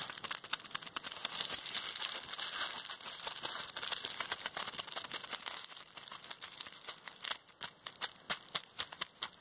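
A small bundle of clear plastic bubble wrap with hollow air bubbles is pinched and popped with the fingertips and long red nails of both hands. Dense, bright crinkling fills most of the clip, with sharp, short pops standing out more distinctly toward the end.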